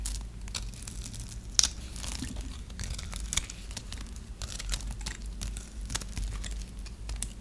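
A metal blade scores and scrapes a dry, solid white bar of soap held in the hand, breaking crisp small cubes off the grid-cut surface. A steady run of dry, bright crackles and sharp little snaps sits over a faint low rumble, with a few louder crunches standing out.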